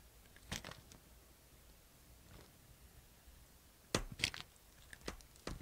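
A utility knife blade shaves crunchy slices from a solid white bar of soap held in the hand. Sharp, gritty crunches with a bright scraping edge come in short irregular bursts, separated by quiet pauses, with a cluster near the start and more toward the end.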